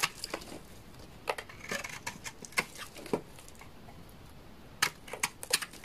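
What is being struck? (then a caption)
Bar of laundry soap cut with a knife blade. A utility knife blade scrapes and shaves curls off a solid, dry orange laundry soap bar. It makes short, crisp, bright scraping bursts with quiet pauses between them, a clustered flurry at the start and another near the end.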